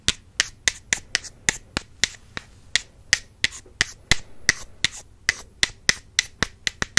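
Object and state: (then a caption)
Wooden makeup brush handles tapped together. Two wooden makeup brush handles are tapped together in a steady run of about 24 sharp, dry clicks over seven seconds. Each tap is a short, bright knock centred near 2 kHz with very little low end, and it dies away almost at once with no ring.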